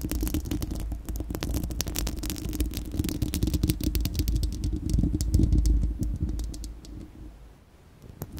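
Long acrylic nails scratch and tap a bare, round, hollow steel-mesh microphone grille. The result is a dense run of quick scratchy clicks over a deep, boomy low rumble. The sound swells in the middle, then thins and fades near the end.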